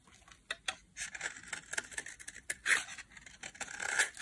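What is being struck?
Bar of soap scraped with a metal blade.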